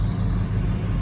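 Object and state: Nothing is struck.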